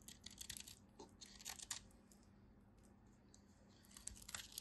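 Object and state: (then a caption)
Bar soap being shaved. A small remaining chunk of a solid orange bar soap, held in the fingers, is cut and shaved with a utility knife blade, and crumbs fall off. Crisp, bright scraping crunches come in quick clusters over the first two seconds, fade to a quiet lull with a faint low hum, then return near the end.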